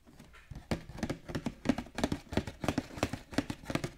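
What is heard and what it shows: Fingertips and short nails tap and scratch across the printed cardboard front and clear plastic window of a large, flat, hollow cardboard Pokémon Radiant Eevee premium collection box with card packs inside, lying on a table. About 18 quick, dull, hollow taps with a low-mid body fall at an uneven pace. Each tap dies away almost at once, with light scratchy rustle between them.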